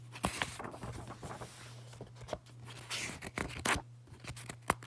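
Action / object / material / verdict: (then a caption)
scrape / paperback book paper pages / paper / none. Fingertips flip and riffle the paper pages of an open paperback book, producing soft rustling broken by crisp, bright snaps and ticks as pages turn. A steady low hum sits underneath the quiet, papery sounds throughout.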